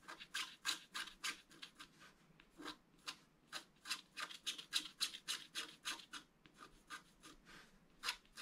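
A wooden stylus scratches short lines into a flat scratch-art card (black coating over colored foil) lying on a table. There are about 26 quick, dry scratching strokes in an uneven rhythm, each a brief bright hiss with almost no low end. The result is a quiet, rapid series of scratches.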